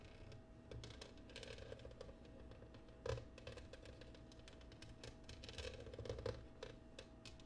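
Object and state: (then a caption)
Cut glass oval dish. Long painted nails tap and scratch across the patterned base of an empty, clear pressed/cut glass oval serving dish resting upside down on a wooden table. The result is a quiet, steady stream of rapid clicky taps and scratchy rasps over a faint constant tone, with a sharper tap near the middle and a busier stretch toward the end.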